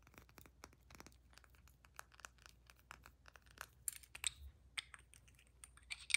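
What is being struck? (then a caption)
Glass perfume bottle. Long nails tap quickly on the sides of a square glass perfume bottle filled with amber liquid and topped with a metal collar, giving a string of light, bright clicks that die away almost at once. Near the end the cap is removed, adding louder, sharper clicks with a faint high ring.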